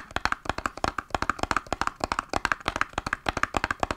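A small, hollow green printed cardboard box held in both hands is tapped rapidly with long nails and fingertips. About 28 quick, dry taps and clicks follow one another with very short decay, their tone centered around 1.6 kHz. The taps have a light, hollow papery ring.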